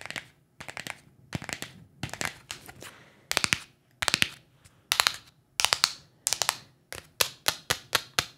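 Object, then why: Small cardboard box. Long acrylic nails tap and scratch a small, hollow, printed cardboard box in quick bursts of clicks. The bright, dry clatter comes in irregular clusters with short pauses between them and dies away instantly with no ring.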